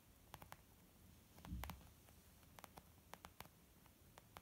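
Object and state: Leather makeup bag.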